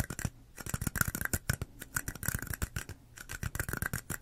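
Long acrylic nails tap and scratch on two small identical red plastic cups, hollow and empty, held sideways in both hands. A quick, uneven run of dry clicks with light scratching between them, each tap dying away almost at once and carrying a faint hollow ring around 1.4 kHz.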